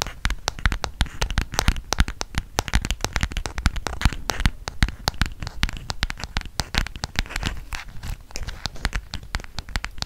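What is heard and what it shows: Fingernails tap rapidly on the plastic back of a solid black smartphone held in both hands. A dense, steady stream of sharp, dry clicks runs for about ten seconds, each tap a quick bright tick over a low thud that dies away almost at once.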